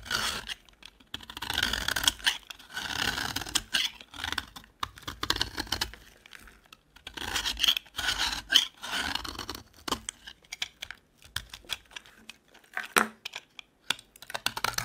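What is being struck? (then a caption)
Bar of soap carved with a knife blade. A metal utility knife blade scrapes and carves shavings off the corner of a solid, dry yellow soap bar held in the hand. Dry, bright scratching strokes come in short, rasping bursts separated by brief pauses, with little low end and almost no ring after each stroke.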